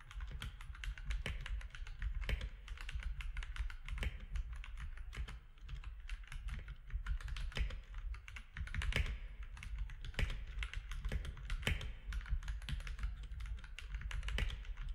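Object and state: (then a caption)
Plastic mechanical keyboard. Both hands type with their fingertips on a compact mechanical keyboard with a hollow case, gray and cream plastic keycaps and orange accent keys. A dense, steady stream of short, dry keystroke clacks carries a deep hollow thump underneath and bright plastic clicks on top. Each stroke dies away almost instantly.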